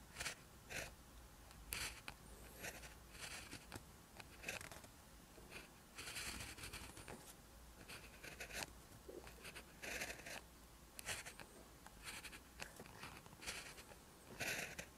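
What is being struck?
Ballpoint pen on lined notebook paper.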